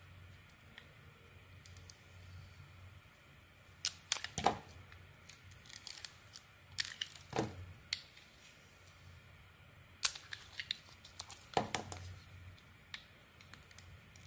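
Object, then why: Bar of soap shaved with a metal blade. A solid pink rectangular bar of soap, held in the hand, has its surface scraped and shaved off with a metal blade. Soft dry scratching runs throughout, broken by bursts of sharp, bright crackling and crunching as the blade bites in around 4, 7, 10 and 11.5 seconds. A faint low hum sits steadily underneath.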